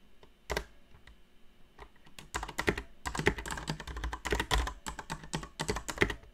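Long nails type on a backlit mechanical keyboard with plastic keycaps and Cherry MX Brown switches, the nail tips striking the keycaps. A few scattered taps give way to rapid, uneven typing from about two seconds on. Each keystroke is a short, dry clack with a bright clicky edge and a dull low thump.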